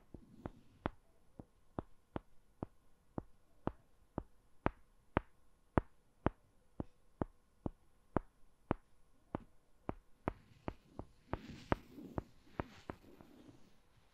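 Two small, solid, light-brown wooden balls, held between fingertips and long nails, are knocked together in front of the mic, giving 27 sharp, dry clicks in a steady, unhurried rhythm. Near the end, the balls are also rubbed together, adding a soft, brighter scraping hiss between the last knocks over a faint, constant low hum.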